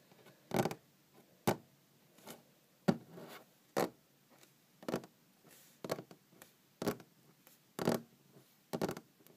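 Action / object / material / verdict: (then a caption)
tap / wooden tabletop / wood / none. Long green-painted fingernails tap on a large, solid wooden tabletop. The taps are short, dry clicks that fall in an uneven rhythm with pauses between them. Each tap is a bright, broadband tick with a low woody knock underneath and almost no ring.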